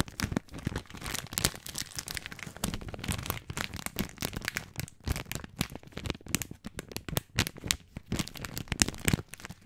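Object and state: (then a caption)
Plastic spaghetti package being crinkled. Fingertips crinkle the end of a long, full plastic film package of dry spaghetti, then rub and scratch along the package. Dense, dry crinkles and crackles come in quick uneven bursts, each snapping off almost instantly, with a bright papery edge over a soft low rustle.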